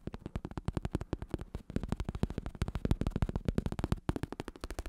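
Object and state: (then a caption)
Vinyl-covered bicycle saddle. A black padded bicycle saddle with a textured vinyl, synthetic-leather cover is held in hand while fingertips and nails tap and scratch it rapidly. About 38 quick, dull, low thumps come in a steady patter, each dying away almost at once, with a faint scratchy rustle between them.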